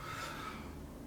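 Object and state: Nothing is struck.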